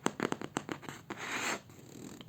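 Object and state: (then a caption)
Kraft paper notebook cover. Fingernails scratch the craft paper cover of a notebook, producing a run of quick, dry, crisp scratches followed by a longer, brighter sweeping scrape and then softer, fainter rustling scratches. The craft paper gives a pleasing, textured scratching sound.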